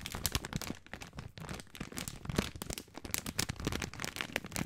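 Fingertips crinkle and scratch a long, full plastic film package of dry spaghetti, working especially at the sealed end. A dense stream of sharp, bright crackles and rustles is heard, with quick snaps over a soft scratching bed and very little ring after each.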